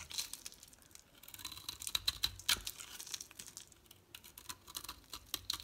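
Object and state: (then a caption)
Bar soap being shaved. A solid green oval bar of soap is held in the hand and scraped and shaved with a metal utility knife blade, peeling off curling flakes. The quiet, bright, crisp scraping comes as a rapid run of short, dry crackles and ticks with almost no low end. A few sharper snaps stand out among the softer shaving strokes.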